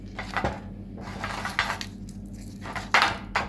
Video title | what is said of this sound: Organizzazione pasti settimanali | devono essere dure perché queste in pratica vengono ricotte, vedete, proprio è pane duro